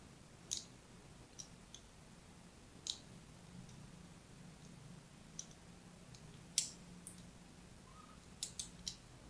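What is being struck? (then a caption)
Bar of soap. A thin metal blade tip scratches a crosshatch pattern into a hand-sized solid purple bar of soap held by a hand with red nails. About ten short, bright, crisp scraping clicks sound at uneven intervals over a quiet, low, steady background hum, each dying away almost at once.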